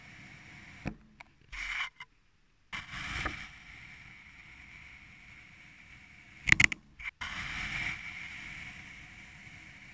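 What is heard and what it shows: A thin metal blade or needle is pushed down and drawn through purple kinetic sand packed into a small clear glass tumbler, cutting a grid of slits. Soft, bright, grainy scrapes and hisses come in separate strokes, centered around 2 kHz, with a brief cluster of sharper crisp clicks in the middle. A longer sustained scrape follows at the end.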